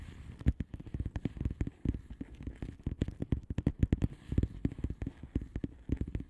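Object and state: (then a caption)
Bubble wrap mailer, tapped and scratched. Long manicured nails of both hands tap and scratch a flat blue plastic bubble wrap mailer envelope with air-filled bubbles. A rapid, uneven stream of soft, dull taps with short bright clicks, each dying away almost at once over a faint scratchy hiss.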